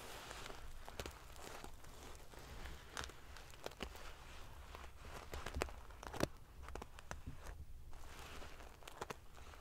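Long painted fingernails scratch and ruffle a large decorative pillow covered in rows of small silver metal sequins sewn onto fabric. A steady, quiet rustling and crinkling of the metal pieces runs throughout over a low rumble. Sharp, bright clicks and ticks break through it now and then, with the loudest snaps just past the middle.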